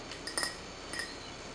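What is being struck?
Small glass jar with metal clasp.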